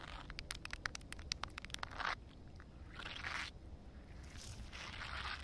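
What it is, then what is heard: Wet concrete slab. Long painted nails tap and scratch a rough, solid wet concrete slab with a shallow puddle. A quick run of sharp, bright clicks is followed by longer, hissy scraping bursts, all over a faint low rumble.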